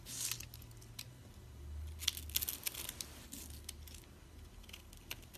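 A flat metal blade scrapes and carves cubes off a solid green bar of dried soap held in a palm with long red nails, with crumbs falling onto a pile of soap shavings. Quiet, bright, dry scraping is broken by sharp, crisp crunches that stop short without ringing, over a faint low hum.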